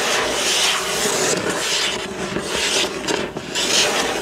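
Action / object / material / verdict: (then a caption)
scrape / cardboard box / cardboard / none. Fingertips and nails of one hand scratch and rub across the front of a flat, hollow, printed cardboard box from a building-block set lying on a wooden table. The result is a steady, bright, raspy scratching texture with almost no low end, swelling and easing slightly in strokes throughout.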